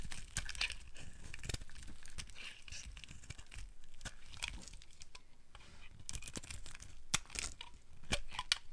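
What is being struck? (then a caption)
Bar of soap. A palm-sized, solid pink bar of dry soap is held in one hand and shaved with a metal blade in the other, curls of soap peeling off and piling onto the table below. Repeated short, dry scraping and crackling strokes with a bright, tearing crunch come in irregular bursts over a faint low rumble.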